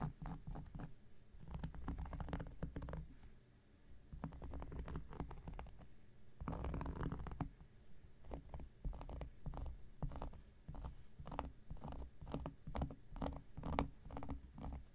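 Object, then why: Cork coaster. An x-acto knife blade scratches a large, round, flat coaster of solid cork lying on a surface. It makes a quiet, muffled, low scratching, a dense run of short scraping strokes with faint brighter ticks and brief pauses between bursts.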